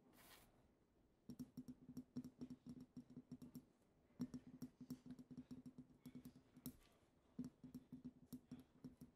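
A small, partly filled pink-tinted glass perfume bottle with a heart print and its pink cap removed is tapped on the shoulders and neck with long acrylic nails. The result is quick, light clicking taps in bursts, each with a short glassy ring around 250 Hz and a bright tick. A soft brief hiss is heard at the start.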